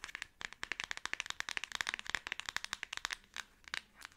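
Long acrylic nails scratch across the black plastic back case, with its camera cutout, of a Samsung smartphone held in both hands. A rapid, uneven run of sharp, dry clicks and crackly scrapes comes through, bright and centred around 1.8 kHz, with almost no low end. Each tick cuts off instantly, with brief pauses near the end.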